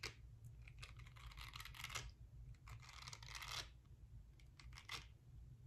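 A small, palm-sized round pink silicone face-cleansing brush with nubby silicone bristles is held close to the camera while long nails scratch and tap across its bristles. The result is bursts of dry, crackly scratching with quick light taps in between, over a steady low hum.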